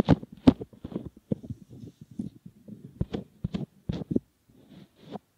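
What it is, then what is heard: Silicone ear model. Fingertips squeeze, fold and rub the rim of a soft, solid silicone ear model. The result is a close, irregular run of soft squishing and rubbing sounds, low and muffled, with a few sharper bright crackles over about five seconds.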